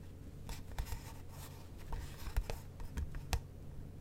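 A furry fursuit paw glove with fur-covered fingers scratches and rubs the lid and sides of a small, light pale-wood box with a brass latch, which is hollow and closed. Soft, dry scratching and rubbing are broken by short, crisp scrapes with a bright edge over a low, steady hum. Each scrape stops at once with no ring.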